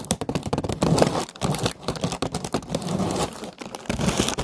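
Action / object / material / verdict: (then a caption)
scrape / paper lantern on a wire frame / paper / none. Long nails tap and scratch a hollow orange paper lantern on a wire frame. The result is a dense, fast run of dry, crinkly taps and papery scraping with a soft low thump under the touches. The bursts come in close clusters with brief gaps between them.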